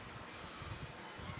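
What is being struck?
Nothing is struck.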